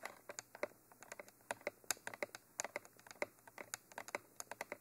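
Long nails tap on top of the hollow, textured black cylindrical body of a Mitra binaural microphone. About 26 quick, dry clicks land in an uneven, rapid patter. Each tap is soft and bright with almost no low end, and dies away almost instantly.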